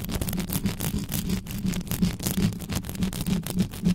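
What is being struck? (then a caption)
Metal mesh microphone grille. Long nails on both hands scratch quickly across the metal mesh grille of a black condenser microphone. The result is a dense, continuous rasping and crackling, dominated by a low, buzzing rumble near 176 Hz, with rapid bright scratchy bursts flickering over it throughout.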